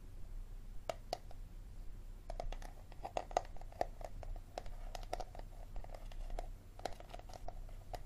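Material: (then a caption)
Plastic. Fingertips and nails tap and scratch the ridged bottom and sides of an empty, hollow, clear plastic water bottle held sideways above a wooden table. Quick, dry clicks with a hollow mid-pitched ring come in irregular bursts over a low background rumble.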